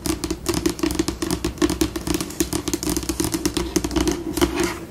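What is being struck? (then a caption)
Laminated tabletop. Long pink acrylic nails on both hands tap and scratch across a large, solid, flat, glossy white laminated tabletop, shifting between fast and slow. Quick, sharp clicks with very short decay mix with bright scratchy scurrying, over a steady low tone near 340 Hz.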